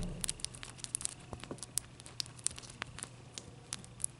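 Long dark nails scratch and tap the faces of a large, clear, solid block of ice held up close. A rapid, uneven series of sharp, bright clicks and ticks sounds over a soft, crinkly scraping texture and a faint low hum. Each tap is dry and dies away almost instantly.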